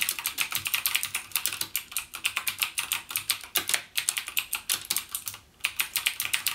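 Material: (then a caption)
Plastic. Fingertips type continuously on a backlit plastic mechanical gaming keyboard with plastic keycaps and Cherry MX Blue switches. A rapid, steady stream of sharp, bright clicks with almost no low end and very short decay, broken by a brief pause near the end.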